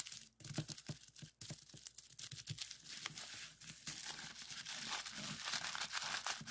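A flat, clear plastic bubble wrap sheet with hollow, air-filled bubbles is pressed and pinched with the fingertips to pop them. Sharp, bright snaps come at an irregular, rapid pace over a constant crinkling rustle of the plastic. The pops grow denser and more continuous toward the end.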